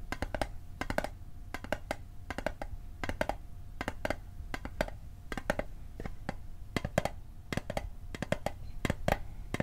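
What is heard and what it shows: A small hollow metal Altoids mint tin, held on its edge, is tapped with fingertips and nails in quick bursts and clusters of sharp clicky taps, about 39 in all. Each tap is dry and brief with a faint metallic ping near 600 Hz, and a steady low rumble runs beneath throughout.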